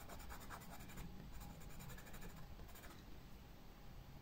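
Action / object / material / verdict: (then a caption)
scrape / pencil on paper sketchbook page / paper / none. A pencil tip scratches leaf outlines onto a white paper sketchbook page in quick strokes, making a soft, continuous scratching. The strokes are quiet and steady, with faint bright grain over a low background rumble.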